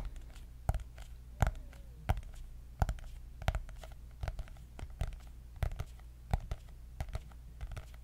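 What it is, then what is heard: Hardcover notebook tapped with fingernails. Long nails tap on the cardboard cover of a white hardcover notebook with gold dots, making short, dry clicks at an irregular pace. The taps range from soft scratchy touches to sharper, brighter knocks over a steady low hum.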